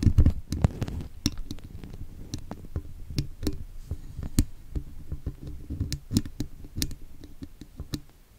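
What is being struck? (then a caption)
Woven steel wire microphone grille. A thin metal pick scratches and taps along the wires of a woven steel wire mesh microphone grille, a hollow dome, picked up by the microphone itself. Short, sharp ticks with a bright edge sit over deep, boomy low thuds and a soft scraping rustle, each tap dying away quickly. The taps come unevenly and grow fainter toward the end.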